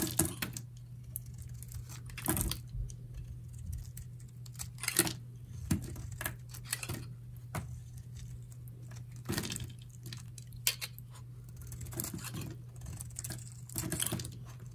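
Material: Soap.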